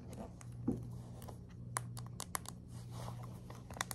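Long acrylic nails scratch and flick across the dense plastic pin bristles of a hand-sized black plastic paddle hairbrush held over a table. Quick, bright clicks and crisp ticks snap out over a soft scratchy rustle, with a steady low hum underneath.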